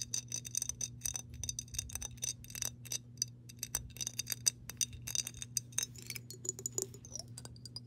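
Long pink nails tap rapidly on the body and base of a clear glass mason jar with "MASON" embossing, partly filled with water. The taps make short, bright, high glassy clinks that die away almost at once, over a steady low hum.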